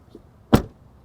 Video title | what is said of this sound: The 2023 Alpina XB7 is Your Fancy, Fast Family Hauler (POV Drive Review) | soyez très satisfait de ce bruit sourd